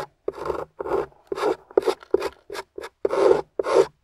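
A metal spatula with a wooden handle scrapes and carves a thick, dry beige clay crust on top of a solid, rectangular, translucent yellow glycerin soap bar resting on a table, throwing up crumbly shavings. A series of short, separate rasping scrapes is heard, dry and gritty with a midrange body and little low end.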